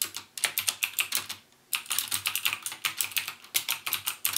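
Fingertips type rapidly on the clicky Cherry MX Blue switch keys of a backlit plastic mechanical gaming keyboard. The sharp, bright clacks run in quick bursts, pause briefly after about a second and a half, then resume just as fast.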